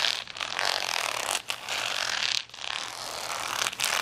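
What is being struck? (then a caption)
Acrylic rhinestone sticker sheet. Fingernails scratch across a large plastic sticker sheet of rainbow acrylic rhinestones lying flat. The result is a dense, bright, gritty rasping in long sweeping passes, broken by brief pauses between strokes, with almost no low end.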